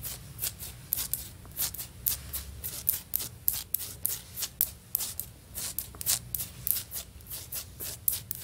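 Long nails tap and scratch across a solid, stone-pattern ceramic floor tile. About 25 sharp, bright clicks land in a steady, irregular rhythm, with soft scraping between them and almost no ring after each tap.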